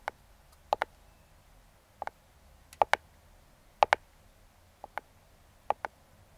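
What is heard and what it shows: Metal claw fingertip picks tap and click on the top of a small closed brown kraft cardboard box. Short, dry clicks come mostly in quick pairs, spaced apart by near-silence, with a bright mid-range snap and almost no ring.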